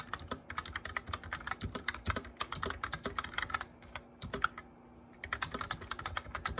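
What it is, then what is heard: Plastic mechanical keyboard. A white backlit plastic mechanical keyboard is typed on quickly, with both hands tapping the keycaps with their fingertips. Short, crisp clicks come in rapid bursts, with a brief pause near the five-second mark before the typing picks up again.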